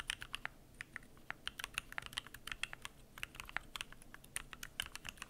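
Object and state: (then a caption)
Mechanical keyboard being typed on. Fingertips type continuously on a Keychron Q1 aluminum mechanical keyboard with PBT plastic keycaps, producing a rapid run of about 33 short, bright clicky keystrokes centered near 2.7 kHz. Each strike is crisp and dies away almost instantly over a quiet, low background.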